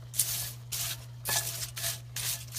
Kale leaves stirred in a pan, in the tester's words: you can actually maybe hear if I stop talking how crispy it is